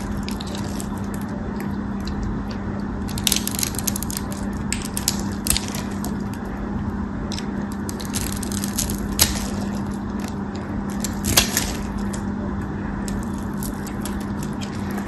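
A metal craft knife cuts a tan solid bar of soap in a crosshatch pattern and scrapes it into small cubes. Dry, crumbly crackling and scraping come in bright bursts over a steady low hum, with a few sharper snaps standing out.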